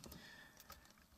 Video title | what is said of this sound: Sigelei 150 Temp Control Vs IPV 3LI Vs Smok X Cube 2 | I can shake this and it's just buttons rattling a lot this one has major button rattle